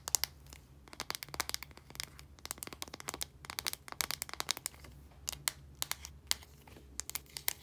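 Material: Plastic.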